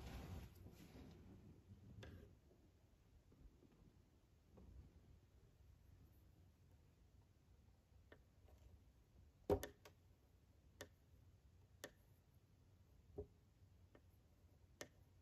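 A yellow pencil traces lines over the face of a framed drawing of a male figure, behind glass in a wooden frame hanging on a wall, while fingertips rest on the glass. Faint scratchy rustling at the start gives way to near-silence broken by a scattered series of sharp, bright ticks and taps of pencil on glass, the loudest around the middle. Each tick dies away almost instantly.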